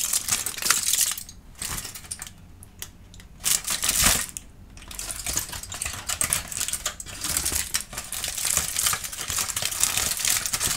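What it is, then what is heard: Aluminum foil being crumpled. A sheet of aluminum foil is crumpled and squeezed in the hand into a loose wad while a kitten watches. It makes a dense, bright crinkling and crackling, with brief quieter pauses in the first few seconds and a sharp crackle near the four-second mark. The foil ends as a loose, wrinkled wad.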